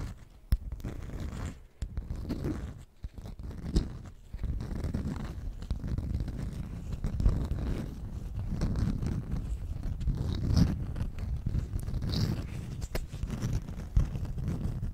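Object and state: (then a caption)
Beeswax food wrap. Long nails tap and scratch the waxy face of a stiff beeswax cloth food wrap held in both hands. The result is a steady, dense, low-heavy scraping and crinkling with a few sharp, brief taps standing out, and short near-silent pauses in the first few seconds.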